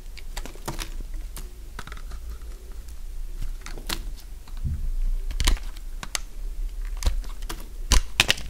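A solid, dry, beige stamped soap bar held in one hand is scraped and shaved into curls with a metal utility blade. Sharp, dry, crunchy clicks and scrapes come at an irregular pace, with bright cracks that cut off almost instantly. A steady low hum sits underneath.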